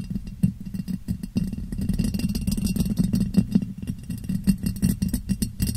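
A clear, ribbed glass jar, hollow and empty, sits upside down over a microphone and is tapped and rubbed on its sides with fingertips and nails. A rapid, uneven stream of soft taps and scratches produces a boomy, muffled resonance centered low around 195 Hz, with faint bright clicks above it. Each tap dies away almost immediately.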